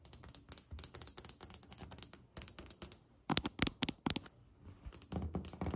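Fingertips and long nails of both hands tap on a solid white glazed ceramic tile countertop, producing rapid, dry clicking taps with bright, high clicks and very short decay. Midway the hands come closer, and the taps grow louder and fuller in the low end, then soften before building again.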